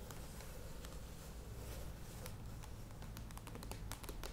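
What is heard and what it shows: Long acrylic nails tap and scratch the sides of a medium plastic Kokos Natur coconut yogurt tub with a clear lid, standing on a table. Quiet, short, bright clicks come in a steady, irregular patter with almost no ring, over a low, constant hum.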